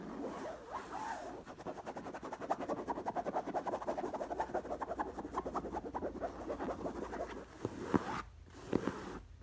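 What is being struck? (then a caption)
Stuffed pillow with knit cotton cover. Long nails scratch rapidly back and forth across a soft stuffed black cotton pillow covered in black knit fabric, making a dense, papery rasp that is mostly mid-toned with little bright hiss. Near the end the scratching stops, and a couple of short, sharper strokes stand out between brief near-silent pauses.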